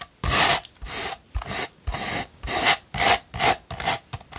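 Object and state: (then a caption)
Sandpaper scratched. A rolled tube of sandpaper is scratched quickly with long pointed nails, making a dozen short, gritty rasping strokes separated by brief pauses. The scratches sound bright and dry, with little low end and almost no ring after each stroke.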